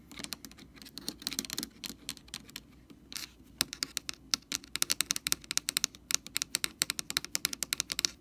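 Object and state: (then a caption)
Plastic bottle cap. Long nails tap and scratch on the rim and top of a blue plastic screw cap from a Lysol jug. Softer, scratchy patter in the first few seconds gives way to quicker, sharper taps. Each is a dry, bright click that stops at once, with no ring.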